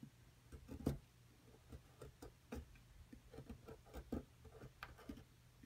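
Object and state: Plaster excavation block being chipped.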